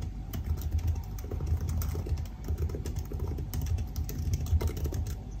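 Fingertips type steadily on the black plastic keys of a silver aluminium laptop keyboard. The rapid, overlapping key taps are soft and dull, sitting mostly in a low, thumping range with only faint clicky edges.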